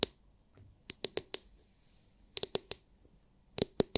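Long nails tap the hard clear plastic glitter-filled dome of a palm-sized oval massage brush, producing sharp, bright clicks. The taps come in three quick bursts separated by short pauses, each click dying away almost instantly.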